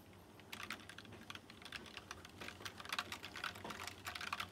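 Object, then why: Plastic mechanical keyboard with round metal-rimmed keycaps. Fingertips type on a white plastic mechanical keyboard with round chrome-rimmed keycaps, producing a rapid run of short, bright clicks and clacks. Keystrokes arrive in quick bursts with little ring after each press, over a faint low hum.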